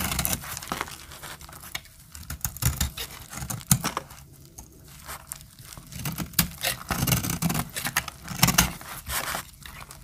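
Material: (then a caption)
Soap. A metal blade scrapes and cuts powdery flakes off a solid, dry cream soap bar held in the hand. The result is a run of dry, crunchy scrapes and crumbly crackles with bright, hissy edges, broken by short quiet gaps. A soft low rumble sits under it.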